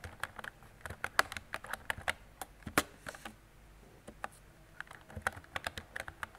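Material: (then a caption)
Plastic. Fingertips with painted nails type continuously on a mint-green plastic mechanical keyboard with round, retro typewriter-style keycaps and hollow key switches, resting on a desk. About two dozen crisp, bright clacks sound in uneven bursts, each dying away almost instantly, with a brief lull in the middle before the typing picks up again.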